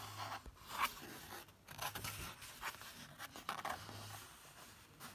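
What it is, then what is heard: Paper book page. Fingertips trace and rub across the printed photo page of an open paperback book. Quiet, dry brushing and scraping strokes rise and fade in a series of soft bursts, with a bright papery hiss and little low end.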